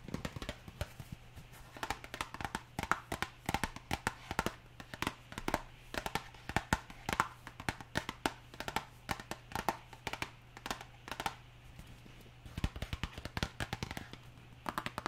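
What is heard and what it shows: Long nails tap rapidly and irregularly on a small printed cardboard box of cornflour that looks full and is held in one hand, making short, dry clicks that die away almost at once. Rain patters softly in the background, and a steady low hum runs underneath throughout.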